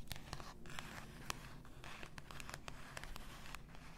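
Long acrylic nails scratch and tap the paper label and glass of an 850 g glass bottle full of pink bath salt, lying on a white fur rug. Quick, bright clicking taps with a glassy ring near 1.1 kHz sound over a steady low rustle of scratching.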